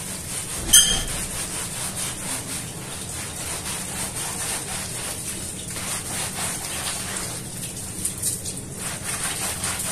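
A small blue and red patterned woven fabric rug, covered in soap foam on a stone floor, is scrubbed by hand with a round hand-held bristle brush. A steady, bright, scratchy scrubbing runs throughout, with two sharper knocks standing out: one near the start and one toward the end.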